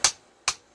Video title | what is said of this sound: A hammer and jig walk into a bar... Grill making 101's backyardinstallers style... | see it's hollow-ish now but when i get it down to the ground